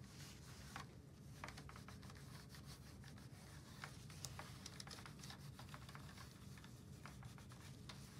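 A disinfectant wipe held in purple-gloved fingers is rubbed across the keys of a full-size black plastic keyboard on a desk, while the other hand rests on the plastic desk mat. A soft, continuous rubbing over a steady low hum is dotted with many short, bright key clicks and taps.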